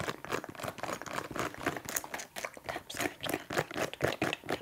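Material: Leather.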